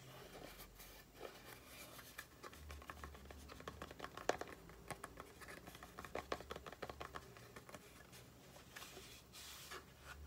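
Long painted nails tap and scratch the top and sides of a small, hollow, closed Aloe face-cream cardboard carton. Quiet, dry taps come in uneven bursts over steady scratchy rustling. Each tap stops almost at once, with a few sharper clicks standing out.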